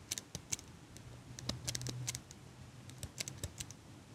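A small chrome metal eyelash curler, held in one hand with long pink nails right next to the mic, has its handles squeezed and clicked while the nails tap its frame. The result is a quiet series of sharp, bright metallic clicks and light taps that die away almost instantly, with a faint low hum under the middle of the clip.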